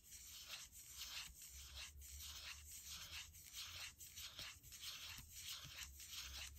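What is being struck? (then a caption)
Aluminum laptop palm rest. Fingertips and nails of one hand scratch and rub the aluminum palm rest to the right of the trackpad on a gold MacBook Air, a thin, hollow, closed-body aluminum laptop. The result is a soft, bright, hissy scraping that swells and fades in a steady back-and-forth rhythm of strokes, with a faint low hum underneath.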